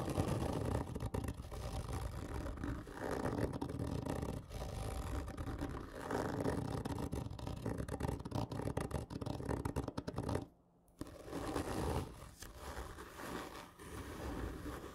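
Long fingernails of both hands scratch along the textured surface of a large, hollow, black printed cardboard whisky gift tube lying on its side. The result is a steady, dense, hollow rasping scrape, heavy in the low end, with a brief silent pause near the eleventh second before the scratching resumes.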